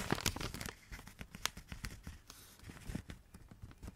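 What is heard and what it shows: A rolled tube of Christmas wrapping paper, held in the hands, is tapped and scratched with long red nails. Dry, crinkly scratches and soft papery taps carry a bright rustle over a dull low thump. The sounds are loudest and densest at the start, with a sharp burst near the middle, then continue as a quieter patter of short scrapes and taps.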